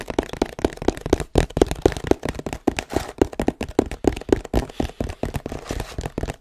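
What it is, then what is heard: Hollow cardboard box. A long, hollow, printed cardboard tripod box is tilted and held in front of the mic, then tapped with fingertips and scratched with nails. About 28 quick, dry, hollow taps sit around 390 Hz, with short scratchy rustles between them. Each tap dies away almost instantly.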